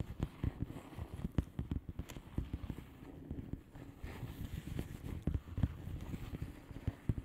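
Long fingernails on both hands tap across the bubbles of a flat blue plastic bubble wrap envelope. The result is a quick, irregular patter of short, dull, low-pitched taps with almost no ring, over a soft, steady rustle.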